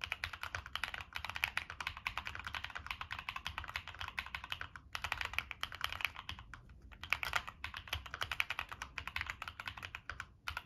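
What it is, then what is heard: Mechanical keyboard with aluminum case. A Monsgeek M1 mechanical keyboard with a black aluminum case, plastic keycaps and NK Cream switches is typed on continuously with fingertips. The result is a steady, fast stream of short, crisp clacks with a bright upper-mid character, broken by a few brief pauses.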